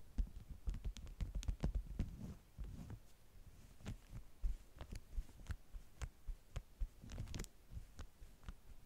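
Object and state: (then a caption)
Beeswax-coated cotton food wrap. Long manicured nails tap and press the top sheet of a flat stack of yellow beeswax-coated cotton food wraps with bee prints lying on a table, both hands resting flat on the fabric. About twenty soft, dull, low thumps are heard at an uneven pace, some carrying brief bright clicks and faint crinkly rustles of the waxed cloth. Each tap dies away almost instantly, leaving a quiet low hum between them.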